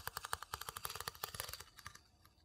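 A small, hollow, empty light-wood bowl held in one hand is scraped and tapped rapidly on the inside with the tip of a wooden spoon. About twenty quick, dry, bright clicks with a faint hollow tone run together, with almost no ring after each one. The taps gradually grow softer and fade out toward the end.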